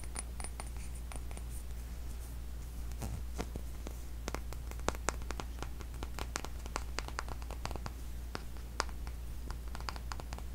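A small glass skincare serum dropper bottle with a white label and a dropper cap is held in the hands and tapped with fingernails along its body, first upright and then on its side. Quick, light, dry clicks and ticks come irregularly, some faint and some sharper, over a steady low hum.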